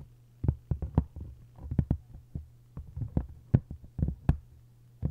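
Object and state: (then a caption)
Hardcover book with paper dust jacket. Long acrylic nails tap and scratch the textured paper dust jacket on both cover halves of a hardcover book opened face-down, with its cover and spine facing up. The result is an irregular run of short, dull, low taps mixed with soft scratchy brushing over a steady low hum.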